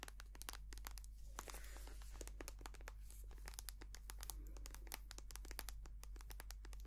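A white, soft plastic cosmetic cream tube, partly full, is squeezed, tapped and scratched with long nails. A dense run of sharp, bright clicks and taps mixes with crinkly scratching and brief crackles. A steady low hum runs underneath throughout.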